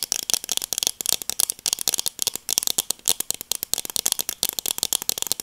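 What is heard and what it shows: Long dark acrylic nails tap and scratch small, hollow black plastic-framed sunglasses with dark lenses, held in both hands close to the mic. A rapid, uneven series of dry, bright clicks and scratchy rattles follows, with no low end and no ring after each hit.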